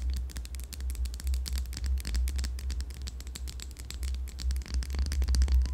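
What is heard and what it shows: A yellow candle in a glass jar filled with wax is tapped and scratched on its rim and sides with long yellow nails. Quick, irregular clicks and scratchy taps run throughout over a steady low hum.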